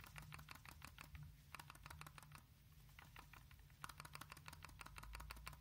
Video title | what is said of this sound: ☢Честный Обзор RADEX OBSIDIAN(гамма спектрометр+бета спектрометр+дозиметр+радиометр)Радэкс Обсидиан | Вот я трясу. Есть шат там такое.